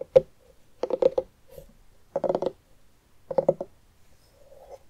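A medium orange pumpkin with its top opening cut and hollow inside rests on a wooden table while the fingertips and long nails of both hands tap and scratch the rind near the rim. Quick clusters of dry, hollow midrange taps come in four bursts, each dying almost instantly, with a faint scratching rasp at the end.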